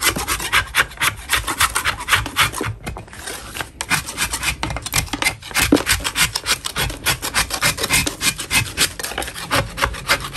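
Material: Chalk.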